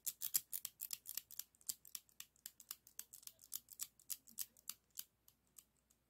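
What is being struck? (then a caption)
Plastic zigzag craft scissors with metal blades. Yellow and red plastic zigzag craft scissors with a metal blade are snapped open and shut by fingers working the handles. Each closing gives a short, bright plastic click with almost no low end and no ring. The clicks come in a quick, uneven run of roughly 27 snaps over about six seconds.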